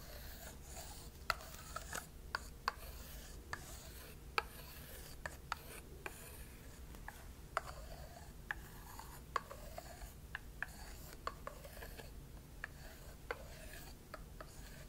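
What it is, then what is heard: Butternut squash scraped and tapped with a wooden stick. A thin wooden stick is rubbed, scraped and tapped along the rind of a whole, uncut butternut squash, large and solid and held in one hand. Soft, quiet rasping strokes are broken by sharp, dry taps that die away almost at once, over a steady low hum.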